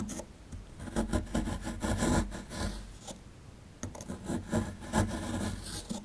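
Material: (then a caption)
Plaster. A plastic chisel tip scratches and scrapes the surface of a solid plaster fossil excavation block held in hand, working near the skeleton's tail. Short dry, gritty scraping strokes come in bursts, with a brief quieter pause midway before the scraping resumes. The sound has a low, rough body with a faint bright grit.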